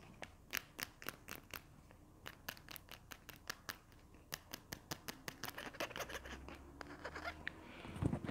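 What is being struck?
Plastic glue stick tube.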